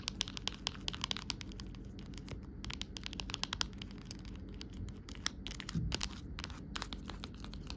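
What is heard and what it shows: An empty amber-tinted clear plastic phone case lying on a rug is tapped and scratched with long nails. Rapid, dry, bright clicks and short scratches come in irregular bursts over a steady low rumble, each tap dying away almost instantly.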